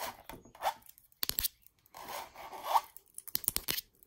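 A long acrylic nail scratches and taps the textured surface of a red mandala stretched canvas wall art print, heard close up. Quiet, dry rasping strokes with a mid-pitched scraping tone alternate with bursts of sharp, bright clicking taps that stop instantly, with almost no low end.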